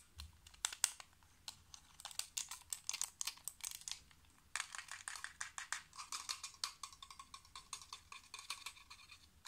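A small black plastic computer mouse with a hollow shell and buttons is held in the hands and tapped and clicked quickly with fingertips and nails. Dozens of sharp, dry, bright clicks and taps come in fast, uneven bursts, with almost no low end and no ring after each hit. The sound is quiet overall.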